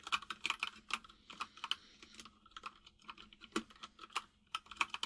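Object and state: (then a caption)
Plastic mechanical keyboard being typed on. Fingertips of both hands type on a full-size mechanical keyboard with white and grey plastic keycaps and a hollow case, producing about two dozen bright, sharp key taps in an uneven typing rhythm. Each click is crisp and dies away almost instantly, with a faint low hum underneath.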